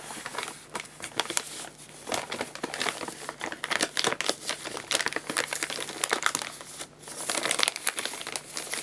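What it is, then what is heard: Paper bag crinkled. An empty paper guinea pig food bag is held up and crinkled and rubbed with the fingers. Dense, bright crinkling and crackling runs for about nine seconds with almost no low end, swelling and easing with the handling and pausing briefly near the seven-second mark.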